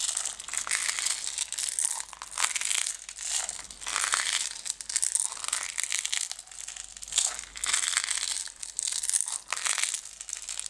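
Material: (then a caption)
Plastic. Long red nails scratch and tap the wall and label of a closed clear plastic jar full of green decorative stones while it is tilted. The result is a steady, bright crinkling and scratching with quick taps, in rolling bursts that swell and fade over about eleven seconds, with almost no low end.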